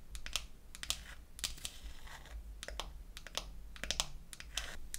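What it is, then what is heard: Wooden toy makeup case tapped with nails. Long acrylic nails tap and scratch the lid of a small, closed, pink-painted wooden toy eyeshadow case. Quick, bright, dry clicks come in uneven bursts, mixed with short scratchy swipes over a steady low hum.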